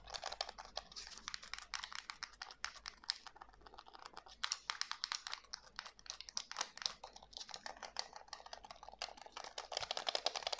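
Fingertips press the buttons and tap the hollow shell of a white plastic PS5 DualSense game controller held in both hands. A steady, rapid run of quiet, bright plastic clicks and taps fills the clip, each snapping off instantly with no ring. The tapping grows a little denser and louder toward the end.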